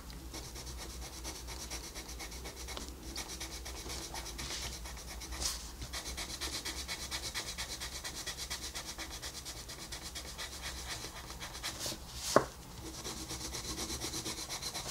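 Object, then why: Wooden colored pencil on a paper coloring page. A wooden colored pencil, held upright, rubs across a flat paper coloring book page while shading a wolf's face. A steady, soft, bright scratching hiss continues throughout, broken by a brief louder scrape near the middle and a sharp tick near the end.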